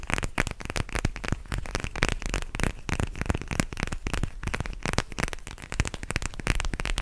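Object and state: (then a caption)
Gel bead eye mask, crackling when squeezed. A purple plastic eye mask filled with gel beads is held close to the mic and squeezed and scratched with fingertips and nails. It gives a dense, continuous run of crackly, rustling pops with a deep low rumble underneath from the close handling.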